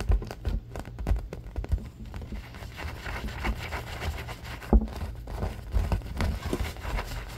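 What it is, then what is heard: Vinyl-covered soft cube. A palm-sized, soft purple stuffed cube covered in vinyl is tapped and scratched with fingertips and short nails, then held and squeezed in both hands. The result is a steady stream of dull, low thumps and soft rubbing scrapes with crinkly friction, all muffled and short with almost no ring.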